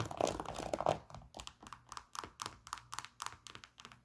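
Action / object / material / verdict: tap / sneaker with synthetic leather upper / synthetic leather / none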